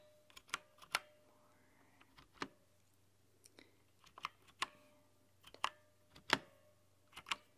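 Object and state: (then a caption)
Plastic mechanical keyboard. Long painted nails type and tap on the white translucent plastic keycaps of a mechanical keyboard with a purple LED glow. Nine sharp, bright clacks stand out among softer, scattered clicks, each dying away almost instantly over a faint, steady low hum.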